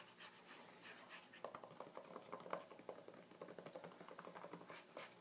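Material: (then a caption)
Glossy paper. Fingertips rub and scratch back and forth across a glossy paper page of an open magazine. A soft, quiet swishing of the paper opens the clip, then turns into a rapid series of sharp, crisp scratches with a papery rasp.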